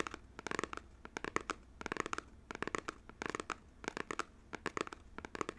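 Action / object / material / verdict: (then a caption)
tap / small printed cardboard box, possibly shrink-wrapped / cardboard / none. Fingernails tap and scratch the front face of a small, hollow, printed cardboard Nintendo Joy-Con box, apparently shrink-wrapped, held up in both hands. Quick bursts of dry, clicky taps with a faint crinkly scratch come in short clusters, with a mid-range body and a bright edge. Each tap stops at once, with no ring between clusters.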